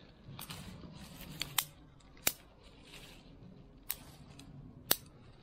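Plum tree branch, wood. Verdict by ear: Hollow.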